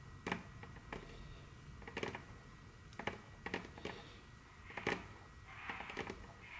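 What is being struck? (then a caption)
Fingernails on a wooden tabletop. Very long curved fingernails tap and click rapidly on a large, solid, dark brown glossy wooden tabletop. The result is quiet, sharp clicks that come in small clusters and stop almost at once, each with a bright, crisp snap over a faint low body, against a soft steady hiss. Toward the end, a softer, breathy wash in the upper mids joins the last few taps.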